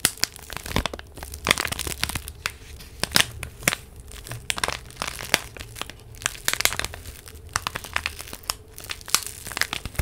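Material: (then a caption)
Paper. A small flat purple envelope, apparently paper, is held in both hands close to the microphone and crinkled and rubbed with long nails and fingertips. The result is a dense run of short, bright crackles and crinkling snaps over a faint low hum.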